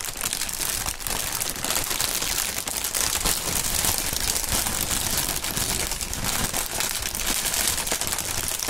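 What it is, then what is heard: Plastic air pillow packaging. Clear polyethylene Sealed Air inflated air pillow packaging is crumpled and crinkled by the fingertips of both hands. A steady, bright, dense crackling rustle runs throughout at an even level, with quick sharp crinkles layered over it.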